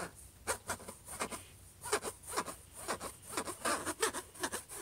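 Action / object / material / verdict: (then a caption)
scrape / closed laptop lid / unknown / none. Fingertips and short nails scratch across the closed lid of a silver HP laptop near the logo. They make a run of quick, dry scraping strokes with bright, hissy edges over a quiet background.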